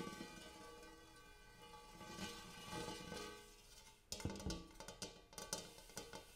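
Fingertips and nails tap the inner surface and rim of a large, empty, hammered brass-colored metal bowl. For the first four seconds, soft taps keep a layered metallic ring humming with steady overtones. Then sharper, brighter taps and clicks strike in a quick, uneven run, each ringing briefly before fading.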